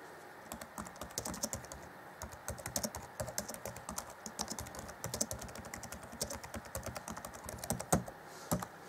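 Fingertips type on the black plastic chiclet keys of an Acer Chromebook C20 (2014) laptop keyboard. Dozens of quick, dry clicks and taps come in an uneven stream with brief pauses, each click bright and dying out almost at once, with a few louder strokes near the end.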